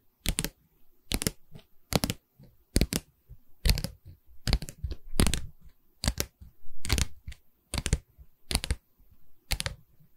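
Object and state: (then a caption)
Wooden canvas stretcher frame tapped with nails. Long red nails tap the wooden bar of a medium, hollow pine canvas stretcher frame with a stapled canvas back, held at an angle. The sharp, clicky taps come in an uneven rhythm, each with a low, hollow knock that dies away quickly. Softer scratchy rustles fill the gaps between them.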